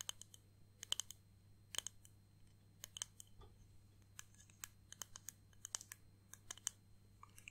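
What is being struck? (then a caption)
Small flat clear acrylic disc ornament. Long painted nails tap and scratch a small, flat, solid clear acrylic disc ornament with pressed flowers and "Grandad" lettering. A quiet series of sharp, bright clicks and taps, each dying away almost instantly, comes in uneven bursts with faint scratchy rustles between them over a steady low hum.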